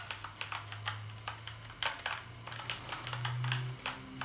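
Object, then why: Plastic computer keyboard. Fingertips type on a black plastic gaming keyboard with backlit keys, producing about twenty quick, bright plastic key clicks in an uneven rhythm. A steady low hum runs underneath, and each click dies away quickly.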